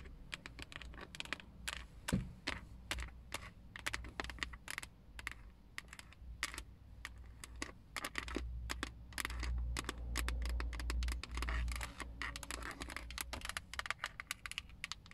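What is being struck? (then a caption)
Plastic steering wheel airbag cover. Long acrylic nails tap and scratch around the chrome emblem on the textured black plastic airbag cover of a Toyota steering wheel, a hollow molded shell. Quick, dry, irregular clicks run throughout, mixed with scratchy rasps over a low, steady hum that swells in the middle of the clip.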